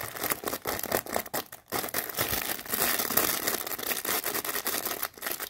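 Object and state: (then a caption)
Plastic-wrapped tissue packs. A bundle of small unicorn-print tissue packs in crinkly plastic wrap is scratched and squeezed with long nails. The result is dense, bright crinkling and scratching, with brief pauses around 1.6 seconds and 5.1 seconds.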